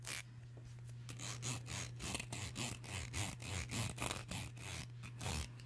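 A black, solid, wide-tooth plastic comb is held close to the mic while long nails scrape and strum along its teeth. The result is a run of bright, rasping strokes over a steady low hum.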